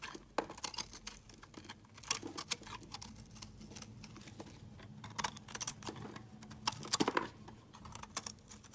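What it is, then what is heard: Bar of soap being carved. A solid, hand-held confetti soap bar, white with colored chunks, is carved with a metal utility blade. It gives a series of crisp, bright scraping and crackling cuts, with sharper clicks standing out at moments, over a faint steady low hum in the background.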